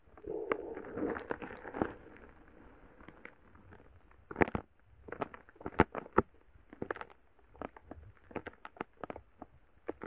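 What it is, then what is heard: Foam bead slime crackling. A palm-sized lump of soft, solid purple foam bead slime resting on a microphone is pushed and stirred with a wooden stick. Dense crackling pops and squishy crunches follow, with a thick, squelchy texture early on. Later come sharper, louder isolated snaps separated by quieter stretches.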